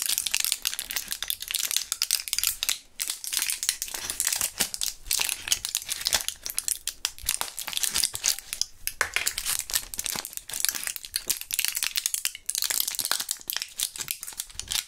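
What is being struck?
Plastic and foil blister pack.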